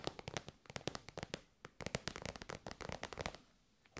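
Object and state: Faux-leather pouch tapped with nails.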